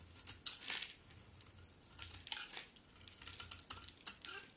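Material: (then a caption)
Soap. A solid white bar of soap with black-coated edges, held in the hand, is carved with a utility knife blade. Quiet, bright scraping and crisp crackling cuts come in short bursts, some sharper than others, over a faint low hum.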